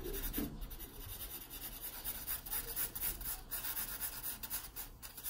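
A graphite pencil makes shading strokes on the page of an open paper sketchbook. Soft, dry scratching and rubbing come in quick, uneven back-and-forth strokes, with a bright papery hiss and a faint low rumble underneath. The overall level stays quiet and steady, with small swells as strokes press harder.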